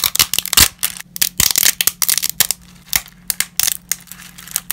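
Black-gloved hands crush and snap dry, brittle lasagna pasta sheet pieces over a pile of pasta fragments. The result is a rapid series of sharp, bright cracks and crinkles, each dying away almost instantly, with short quiet gaps and a faint low hum beneath.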